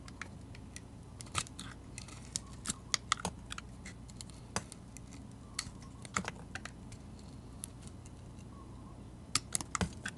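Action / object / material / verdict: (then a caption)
scrape / bar of soap cut with a metal blade / soap / none. A metal utility-knife blade shaves the pink glitter coating off a solid bar of soap with a dark red interior, held in the hand. Quick, bright, crisp scraping clicks come in irregular bursts over a faint, steady low hum. Each cut is short and dry with almost no ring.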